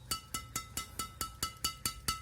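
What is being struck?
Strung badminton racket strings.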